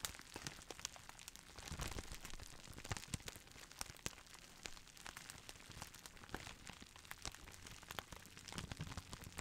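A clear plastic bubble wrap roll with air-filled bubbles is held in both hands, gently squeezed and rubbed with the fingertips. It gives quiet, steady crinkling with many sharp, short clicks and crackles spread across the clip, bright on top with a low rumble underneath.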